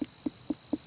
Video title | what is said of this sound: Harvesting Pumpkins | can you hear that this sounds hollow so this is in good shape